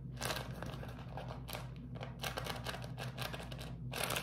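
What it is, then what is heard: Beeswax food wrap being crinkled. A beeswax-coated cotton food wrap is folded and scrunched in the hands, making bursts of bright, papery crinkling that come and go over a steady low hum.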